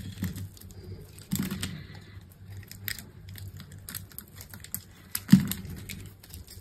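A metal utility knife blade scores a hand-held solid green bar of dry soap with a red coating in a grid and scrapes it into small cubes. Dry, crisp scraping and crackling cuts repeat throughout over a low steady hum, with sharper, louder cuts near 1.3 and 5.3 seconds. Small soap cubes break away from the bar.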